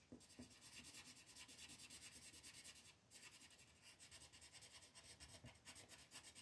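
A pink wooden colored pencil is rubbed in quick strokes to shade a flat white paper mandala coloring sheet on a table, with the other hand resting on the paper. The result is a steady, bright, scratchy rasp of rapid back-and-forth strokes with a brief pause around the midpoint before the shading resumes.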